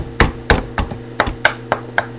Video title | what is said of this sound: Review of Tour Spoiler WAVE shaft after usage. | now it sounds more firm